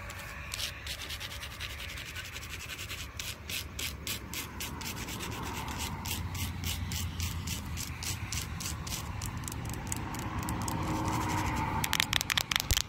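Long acrylic nails tap and scratch the textured grain of a large, solid, dark-stained wooden post at a playground, producing a rapid, uneven run of crisp, bright scratchy clicks over a low outdoor rumble. The sound slowly grows louder and ends in a quicker flurry of sharper taps.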